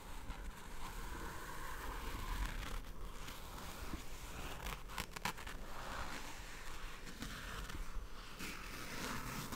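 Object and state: Faux leather chair backrest with embroidered patch.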